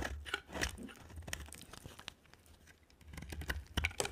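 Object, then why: Bar of soap scraped with a blade. A utility knife blade cuts and scrapes a dry, solid white oval soap bar with a green rim. Crisp, crunchy scraping bursts come in an uneven rhythm with a low rumble underneath. The sound quiets in the middle before the sharp, bright scrapes pick up again.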